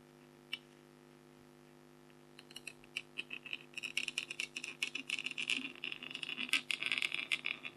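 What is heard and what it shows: A stylus with a red handle scratches away the coating of a flat, thin black-coated scratch art foil card with a tiger design, held close up while the other hand rests on the sheet. After a single faint tick and a quiet pause, short, bright, scratchy strokes begin and grow denser and more rapid, with a crisp high rasp throughout.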